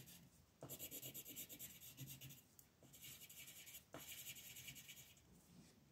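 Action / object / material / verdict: scrape / wooden colored pencil on a paper sheet / paper / none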